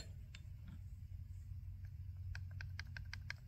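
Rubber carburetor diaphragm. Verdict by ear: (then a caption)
Hardened. The old diaphragm from an abandoned hedge trimmer's carburetor is flexed, giving off a series of dry, sharp, plastic-like crackles and clicks over a steady low hum. The rubber has hardened until it is rock solid and brittle, like plastic, and needs replacing.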